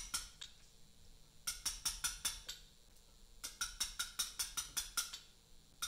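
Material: Limestone.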